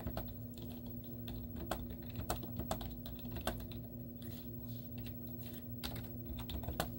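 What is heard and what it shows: Long teal-painted nails and fingertips type rapid taps on a white plastic laptop keyboard with cartoon stickers on its hollow keys. Quick, short clicky taps come in a steady run over a low, constant hum, with a few sharper, brighter clacks standing out.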